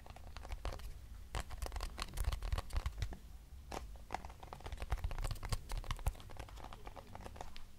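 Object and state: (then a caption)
Cardboard box tapped and scratched. A small, hollow lavender-grey cardboard box is tapped and scratched with long nails. Quick, irregular dry taps mix with crinkly scratching, each tap a short click over a dull, low hollow thump. The sound stays close and quiet throughout.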